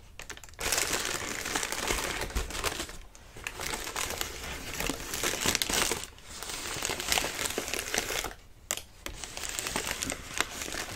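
Fingertips scratch and squeeze the crinkly sides of a hollow, partly expanded lime-green tissue paper lantern. Dense, bright crinkling rustles in long continuous bursts, broken by brief quiet gaps, with little low end and no ring after each crackle.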